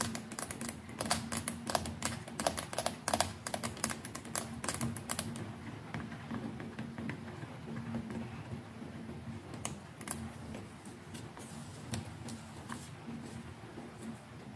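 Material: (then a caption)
Plastic. Long nails tap quickly on the hollow plastic neck of a white plastic electric toothbrush, making crisp, bright clicks over a faint low hum. After about five seconds the tapping thins to occasional sharp clicks as the brush head is turned at the end.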